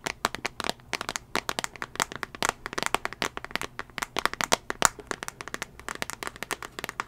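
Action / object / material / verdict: tap / glass tablet touchscreen in plastic case / glass / none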